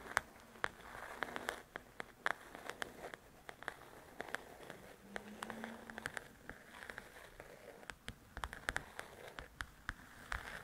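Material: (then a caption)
Paper. Long nails tap and scratch the glossy cover of a large, flat paperback coloring book, with a recorder sitting untouched in the foreground. Many sharp, crisp clicks with almost no ring are scattered irregularly across the clip over a soft, papery scratching and rustling bed. A faint low tone briefly rises in the middle of this quiet, close sound.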